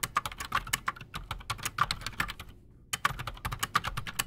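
Both hands type fast with their fingertips on a solid, full-size black Redragon Shrapnel K589 mechanical keyboard resting on a desk, fitted with Outemu Silent Sky silent switches and Razer PBT plastic keycaps. A dense run of short, dry, bright clacks with soft thuds beneath breaks into a brief pause just before the three-second mark, then the rapid typing resumes.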